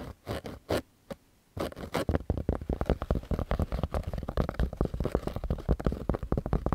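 Fingernails scratch a pink cotton baseball cap with an embroidered logo, held close to the mic, working over the fabric and the patch. A few separate scratchy bursts with short pauses give way to dense, rapid scratching. The sound is soft, dull and low-heavy, with little brightness.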